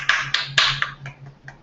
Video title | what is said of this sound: Perception Therapy Podcast #18 | Nice knocking on the wood.